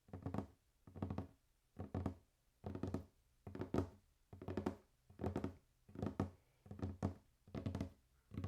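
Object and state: Wooden table.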